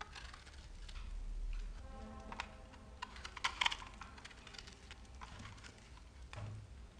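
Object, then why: Solid bar of soap and metal knife blade. A solid speckled bar of soap, held in the hand, is scraped and cut along its side with a metal knife blade, and crumbs fall off. Quiet, dry scraping and crisp, bright crackles and ticks run throughout over a low, steady rumble, with a louder cluster of sharp snaps near the middle.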